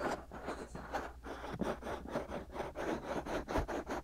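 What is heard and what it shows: Fingertips and short nails scratch and rub the soft, hollow, white silicone ear shells of a binaural microphone. The result is a quiet, dry, rhythmic scratching with repeated rubbing strokes and a faint low hum underneath.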